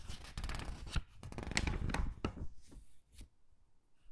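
Fingertips turn the pages of a thin matte-paper jewelry catalog held open and rub them flat, making soft papery rustles and brushing swishes with a few crisp flicks. The first two seconds are dense, then the sound thins to scattered, quieter page sweeps.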